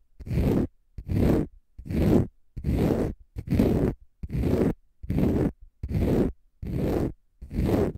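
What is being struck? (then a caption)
Konjac sponge puff. A small, dry, light green porous konjac sponge puff, held in both hands, is scratched with short fingernails and fingertips. Ten separate, evenly spaced bursts of rough, gritty scraping are heard, each lasting about half a second. The bursts are full and weighted toward the low end, with a bright, airy top, and are separated by short silences.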